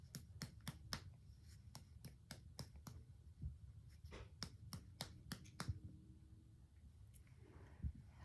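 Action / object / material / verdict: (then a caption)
tap / human abdomen, left lower quadrant / body tissue / tympanic. A series of short, sharp percussion taps on the left lower quadrant of a human abdomen gives crisp clicks over a low background rumble. The taps bring out a tympanic sound, judged normal, with tympany in all four quadrants.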